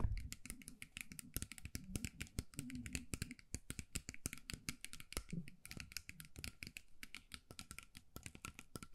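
Long nails tap and scratch quickly over the glued colourful beads covering a small hollow metal mug with a wire handle, held in both hands. A dense run of sharp, bright clicks patters on without pause, each one dying almost at once, over a soft low rustle.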